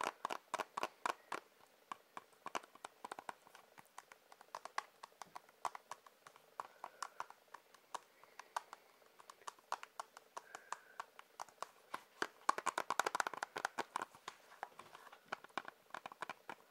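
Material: Plastic.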